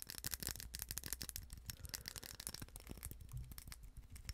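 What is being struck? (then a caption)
Small glass votive holder with rhinestone mesh band. A small, hollow, empty glass votive candle holder wrapped in a rhinestone mesh band is held in the hands and tapped and scratched quickly with long acrylic nails. The result is a fast, irregular run of sharp clicks and bright scratchy rasps over a low rumble.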